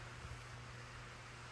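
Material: Nothing is struck.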